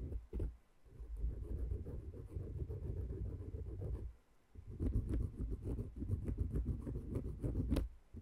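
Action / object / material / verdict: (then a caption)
scrape / wooden peg massager and thin wooden stick / wood / none. A thin wooden stick with a green handle scratches and taps between and over the small, light wooden cylindrical pegs of a dome-shaped wooden peg massager. The sound is a quiet, dull, low-pitched stream of rustling scrapes and soft clicks that stop briefly around the middle, then resume.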